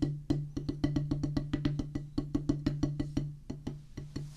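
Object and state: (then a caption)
Rubber drum practice pad. A flat, solid oval drum practice pad with a black rubber playing surface on a light wooden base rests on a wooden table and is tapped rapidly with two wooden drumsticks. About 24 short, dry taps come in a quick, steady rhythm, each a dull, woody knock with a low thump and a faint pitched tone that dies away almost at once.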